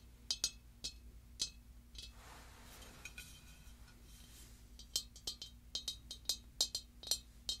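Long dark nails tap and scratch the glossy ribbed body of a large, hollow, pink pearlescent glazed ceramic pumpkin with a gold stem. Sharp, bright clinks ring briefly around 3.8 kHz, with a soft, hissy scratching passage in the middle before another run of quick taps. A low, steady hum sits underneath throughout.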